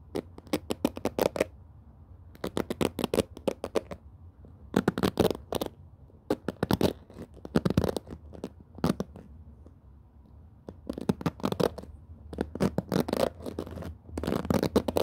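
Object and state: Plastic-bristle cushion hairbrush.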